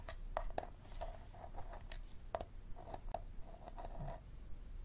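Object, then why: Plastic water bottle with plastic cap. Fingernails tap and scratch on the green plastic cap and shoulder of an empty clear plastic water bottle. Quick hollow plastic clicks with a ringing tone around 670 Hz mix with soft, dry scratching strokes. The clicks are separate but irregular, and they fade fast over a low, quiet background.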